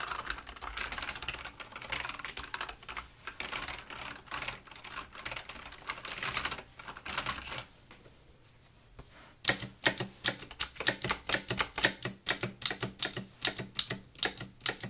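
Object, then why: Plastic mechanical keyboard keys. Long nails and fingertips type across a full-size black Razer mechanical gaming keyboard with plastic keycaps on a wooden desk, making bright, clicky key presses. The first stretch is a soft, rapid patter that fades into a near-silent pause. Then louder, sharper individual clicks ring out one after another until the end.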